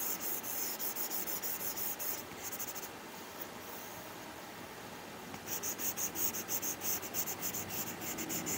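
A hand wearing rings draws lines with a plastic Apple Pencil stylus, scratching and rubbing its tip across a flat iPad glass screen covered with a matte plastic screen protector. Quick, bright, scratchy strokes repeat about three times per second, then ease into a quieter, steady hiss of rubbing in the middle. The rapid scratching strokes then return to the end.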